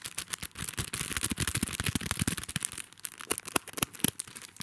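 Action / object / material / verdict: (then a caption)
scrape / sticky notes pad in a plastic sleeve / plastic film / none. Fingertips and nails scratch and handle the clear plastic sleeve around a small, flat, butterfly-shaped paper sticky notes pad on a card backing. The result is a dense, irregular run of quick crinkles and taps with a bright, hissy top and soft low thumps, each dying away almost instantly.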